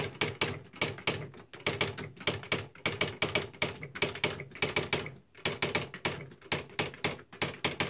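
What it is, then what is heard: Electric typewriter typing. Both hands type continuously on a beige plastic Smith-Corona Mark V electric typewriter with paper loaded, fingertips pressing the plastic keys as the mechanism strikes the paper. About 40 quick, bright clacks with short decays sound in uneven bursts, with a few brief pauses and a tonal peak around 2.3 kHz over a light low thump.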